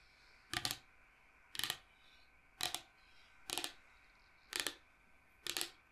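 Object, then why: Log slice with bark, wood. Long nails tap and scratch quickly over the cut face of a large, solid, round log slice with its bark rim showing, held upright. Six short, bright, crisp bursts come at roughly one-second intervals, each a quick double tap-and-scrape that dies away almost at once. A faint, steady hiss sits underneath.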